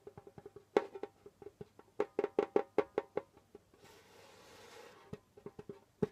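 Knuckles knock on a pale djembe's skin head, then fingertips tap it, making short, dry, woody hits with a mid-pitched tone that die away almost instantly. The hits come in an uneven rhythm with a few louder accents. Partway through, a soft, bright brushing hiss briefly replaces the taps before the light knocks return.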